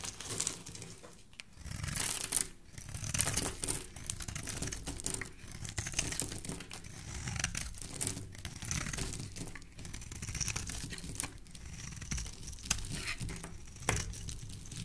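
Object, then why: Bar of soap scraped with a metal blade. A hand-sized solid pink Palmolive bar soap, held in the hand, is scraped with a metal blade, shaving off pink flakes. The clip is a continuous run of dry, crinkly scraping with bright, crisp textures and soft low rumble underneath, rising and falling in short bursts.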